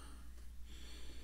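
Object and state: Nothing is struck.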